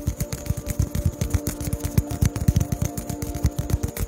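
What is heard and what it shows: A small white polystyrene foam ball, cupped in both hands, is tapped with the fingertips close to the mic. It makes quick, irregular, soft, dull thumps, about four per second, heavy in low bass. Each tap dies away almost at once.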